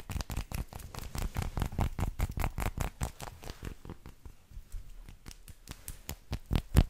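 An unwrapped, solid milk chocolate bar with square segments is held in both hands and tapped and scratched with long lilac nails. The result is a quick, uneven series of short, dull, low taps with faint scratchy texture. The taps soften midway and end on a louder final tap.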